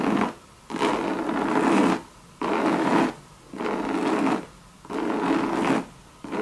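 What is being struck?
Coated canvas bucket bag with leather rim.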